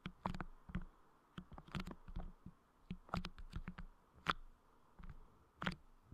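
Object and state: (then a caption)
Clear putty on a microphone grille, squished and tapped. Fingertips squish and tap on clear putty clay covering the head of a Blue Yeti microphone's grille, making soft, sticky sounds. Short, irregular bursts of low, muffled squelching come with quick bright clicks as the putty is pressed and released.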